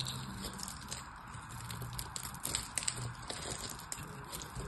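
A craft knife cuts into a solid purple bar of soap with an embossed logo and diamond texture, held in the hand, as small cubes crumble away. Soft, continuous crackling and scraping run throughout over a low rumble, with several sharper bright crunches near the middle.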